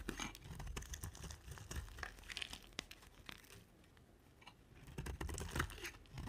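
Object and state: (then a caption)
Dry soap bar being carved. A utility knife blade carves flakes off a solid, dry, pink oval bar of soap, producing a rapid, irregular series of crisp, crackly scrapes and soft crunches. The cuts have a bright tearing edge over a low, dull body. They ease off into a quiet stretch midway before picking up again toward the end.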